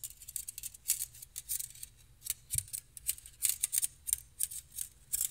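Two stainless steel wire whisks are held in both hands, their wire loops rubbed and tapped together and scratched with fingertips. The result is a quiet, uneven run of bright, high metallic clicks and scratchy rustles, with one faint low thump partway through.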